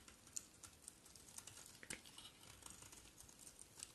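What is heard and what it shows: A solid rectangular white bar of soap, held in one hand, is shaved and carved with the metal blade of a box cutter (utility knife), and curls of soap fall onto a pile. Quiet, crisp scraping and ticking cuts come in an irregular series, bright and high with almost no low end, each click dying away instantly.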